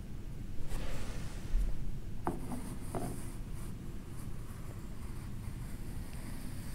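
A red plastic LEGO rake, held by the fingertips, is pulled through a tray of fine beige sand set in a LEGO-brick frame, leaving straight parallel grooves. Soft, grainy scraping and raking sits over a low, dull rumble, with a couple of faint light ticks partway through.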